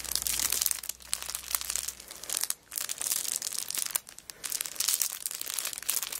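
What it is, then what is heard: Crinkling plastic wrapper on a notebook. Long black nails scratch and crinkle the cellophane wrapper of a kraft paper notebook lying flat on a rug while both hands press and rub it. The result is a dense, bright crackling and crinkling with short rustling bursts, broken by two brief near-silent pauses. A faint low hum sits underneath for the first two seconds.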